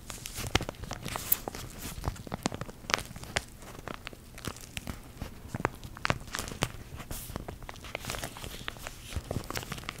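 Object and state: Plastic packaging pouch.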